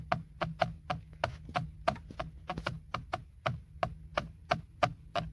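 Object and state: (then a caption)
Plastic steering wheel airbag cover. A single fingertip and nail tap and scratch the hollow, hard textured plastic center airbag cover of a BMW steering wheel. About twenty short, dry clicks with a hollow midrange knock come at an uneven pace of roughly three per second, each dying away almost at once. A faint steady low hum runs underneath.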